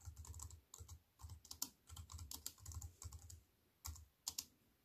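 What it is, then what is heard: Aluminium and plastic computer keyboard. Fingertips with long white-painted nails type on a slim wireless keyboard with a silver aluminium frame and black plastic chiclet keys, resting on a wooden table. Quick bursts of bright, crisp key clicks with a soft low thud beneath come in uneven runs separated by short pauses, each tap dying away almost instantly.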